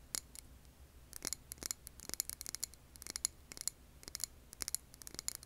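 Long nails tap a clear glass jar filled with green wax candle in quick, uneven clusters. Each tap is a sharp, bright click with a faint high glassy tone that stops almost at once. A soft, steady low hum sits underneath.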